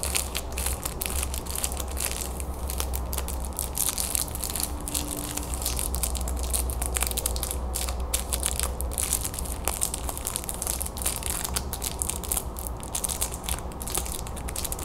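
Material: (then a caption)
Plastic film. Long nails scratch and tap a red and white hard candy stick in a clear plastic wrapper, held in both hands. They make a continuous stream of bright, crinkling plastic crackles over a steady low hum.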